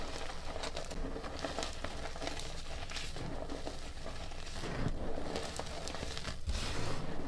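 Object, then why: Loose gym chalk powder squeezed by hand. Bare hands scoop, squeeze and crumble handfuls of loose, dry blue-grey reformed gym chalk powder dyed blue, pressing fingers and palms into the pile. The result is a steady, dense crinkling and crackling with soft crunchy bursts and a low rumbling texture underneath.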